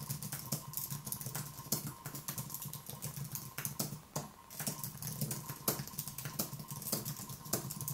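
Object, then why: Plastic-key keyboard on a metal base. A thin Apple wireless keyboard with white plastic keys on a low aluminium base, resting on a wooden desk, is typed on with the fingertips of one hand. Rapid, light clicking taps run throughout with short gaps, under a steady low hum and a faint tone near 1 kHz.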